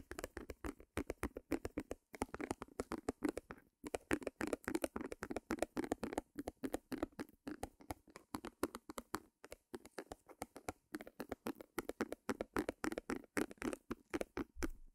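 Fingernails rapidly tap and scratch on a small white stretched canvas, with a wooden easel beside the microphone. The quick, irregular taps sound dry and papery, with a soft low-mid body and very short decay, broken by brief pauses.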